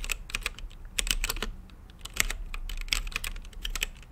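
Fingertips type on a mechanical keyboard with plastic keycaps and a translucent lit case. Quick, uneven bursts of short, sharp clicks and clacks have a bright top end around 2 kHz and die away almost instantly over a faint low hum.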